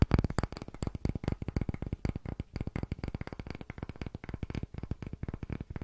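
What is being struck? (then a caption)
Small round wooden block. A palm-sized round block of solid, light-colored grained wood is held in both hands and tapped rapidly with fingertips and short nails. About 40 quick, dry, hollow-sounding knocks follow in a steady uneven patter, each short and dull with a low woody thump and almost no bright edge.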